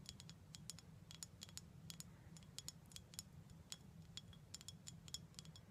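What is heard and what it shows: Someone taps on a glass bottle of prickly pear cactus syrup in a quick, uneven series. Each tap is a short, bright clink pitched high, with almost no ring, over a steady low hum.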